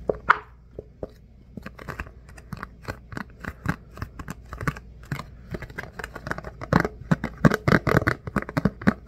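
A flat, rectangular, thin clear plastic food container lid, about hand-sized with hollow edges, is held in both hands and tapped and scratched with the fingertips. Quick, dry clicky taps sound in a steady run, starting sparse and growing denser and louder toward the end, with faint scratchy brushing between them and almost no ring after each hit.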